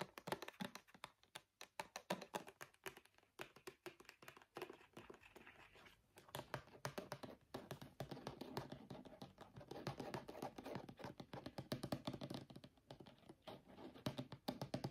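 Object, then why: Small plastic bottle of oil. A small brown plastic travel bottle of argan oil with a gold cap, hollow and filled with liquid, is tapped and scratched with fingernails while being turned in the hands. Quick, quiet, dry clicking taps come in rapid bursts, mixed with soft scratchy rubbing, and each tap dies away almost instantly.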